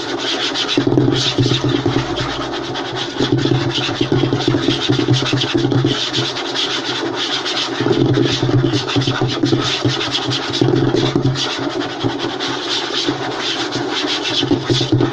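Both hands rapidly scratch and tap a light-colored, solid wooden tabletop made of butcher-block style strips, using fingertips and short nails on its large flat surface. The result is a dense, continuous stream of dry, bright scratching over quick, hollow low thumps. It stays at a steady, fairly loud level throughout.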